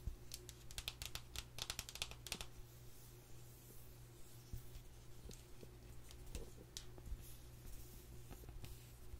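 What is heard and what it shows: Long nails scratch and tap the front and back of a small, flat, black printed cardboard sleeve from an eyeshadow palette held in the hands. Quick, crisp, bright clicks and scratchy rasps come in bursts over a steady low hum, and each tap dies away almost instantly.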